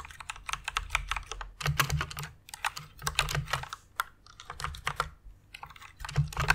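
Fingertips and long red nails type on a full-size white Ducky One RGB mechanical keyboard with plastic keycaps and Cherry MX red switches, resting on a pink fluffy pad. Quick bursts of short, bright plastic clacks and taps over a soft low thud come in uneven runs separated by brief pauses.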